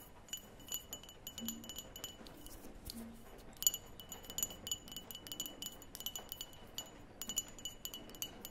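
Long nails tap the walls and rim of a small, open, clear glass cream jar with a label, its lid off and mostly empty. The result is a quiet series of quick, bright glass clinks with short high ringing tones, coming in clusters with brief pauses over a soft background hiss.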